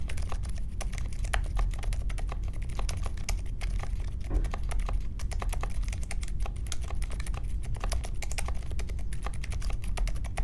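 Fingertips of both hands type steadily on a small grey 60% Polaris mechanical keyboard with Silent Alpaca silent linear switches and white, mint and pink plastic keycaps, resting on a marble desk. A continuous stream of soft, muted keystrokes with short, dull low thuds and very little bright click.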